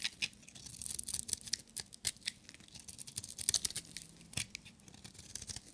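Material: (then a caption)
Soap. A small, solid, pink-and-white striped bar of dry soap is held in one hand and shaved with a metal utility-knife blade, breaking off crumbly flakes. Quiet, bright, dry scraping and crisp crunching strokes come in quick, uneven bursts with almost no low end and no ring after each cut.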